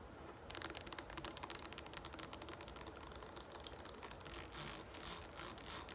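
A green plastic Garnier Fructis shampoo bottle standing on a table has its sides tapped and scratched with long nails. After a brief quiet start, a rapid stream of crisp, dry, bright clicks and scratchy rasps follows, with short, louder scraping passes near the end.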